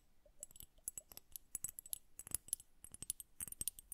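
Long nails tap both bulbs of a glass bubble hourglass filled with blue liquid and bubbles, held horizontally. Quick, quiet, irregular taps produce bright, glassy clicks with almost no ring, scattered across a soft low rumble.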